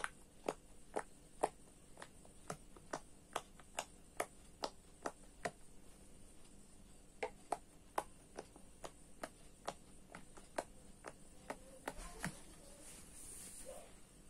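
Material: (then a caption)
Silicone. A fingertip presses and pops the hollow bubble domes of a square orange silicone pop-it fidget toy, a 6x6 grid resting on a dark surface, one bubble after another in sequence. Each press makes a short, dry pop with a faint hollow tone near 720 Hz and a bright click on top, dying away almost instantly. The pops come at a steady pace, pause briefly around the six-second mark, then resume over a quiet background hiss.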